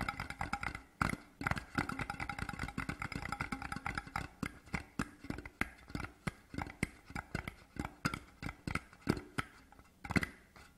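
Fingertips tap fast on both sides of a large, hollow, printed cardboard Deveron whisky gift tube with a grey-blue design, lying horizontally on dark cloth. The taps come in quick, dense bursts early on, then space out into steadier single knocks. Each is a short, hollow, low-pitched thump with a faint bright edge that dies away almost instantly.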